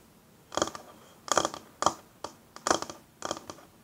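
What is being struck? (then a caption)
Wooden tabletop. Long natural fingernails and fingertips tap and scratch a flat, solid wooden tabletop in six short bursts separated by near silence. Each burst is a quick cluster of dry, bright clicks and scrapes that stop almost instantly, with no low-end thud.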